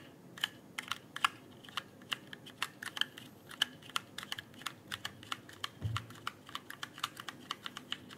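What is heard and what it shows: A full-size RGB-backlit mechanical keyboard with plastic keycaps and hollow-sounding switches rests in front of the microphone as fingertips press and tap the keys in a steady typing motion. About 35 quick, bright clicks follow one another with very short ring, along with a brief low thump near the six-second mark.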